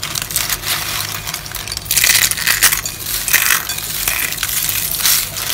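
A pile of small, hollow, rolled dry soap curls in pink, blue, white and yellow sits in a bowl and is squeezed, crushed and rubbed in both hands with long lilac nails. A dense, bright, crackling crunch runs throughout, swelling into louder bursts of brittle snapping midway and settling into a softer rustling crackle toward the end.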